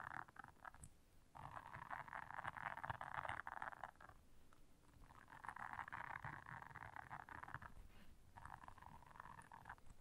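Long nails scratch and press the bristles of a blue silicone bristle scrubber pad, making a dense, raspy scratching centered in the mid-range around 1 kHz. It comes in three long bursts separated by quieter pauses, over a faint low rumble.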